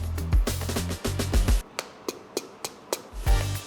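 A whole durian is knocked with something like a plastic pipe or the back of a knife to check its ripeness, and five short, dry knocks ring out briefly between bursts of background music. The sound marks the fruit as ripe, and its flesh turns out soft, with the perfect texture and ready to eat.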